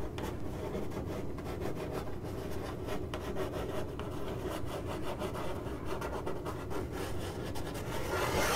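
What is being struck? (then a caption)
Corrugated cardboard box. Long acrylic nails scratch the side of a hollow, printed corrugated cardboard box. The result is a steady, dry rubbing rasp with a heavy low body and quick bright streaks from the strokes. The sound grows louder and brighter toward the end.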